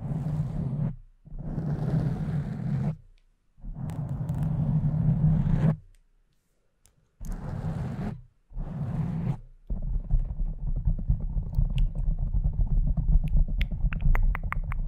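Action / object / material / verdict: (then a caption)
scrape / foam microphone windscreen / foam / none. Long nails scratch the top of a pink foam windscreen on a condenser microphone in five separate bursts with brief silences between them, producing a deep, muffled rumbling scrape. Fingers then grip and rub the sides of the foam in a continuous stretch of low, crackling friction with faint bright ticks on top.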